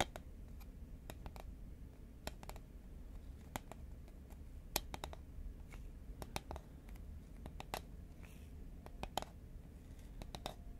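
Fingernails tap rapidly on the side of a tall cylindrical cardboard Pringles can made of composite paperboard, held horizontally in both hands. A quiet series of sharp, dry clicks with bright, high edges dies away almost instantly, some with a faint hollow tone around 740 Hz. A steady low rumble sits underneath.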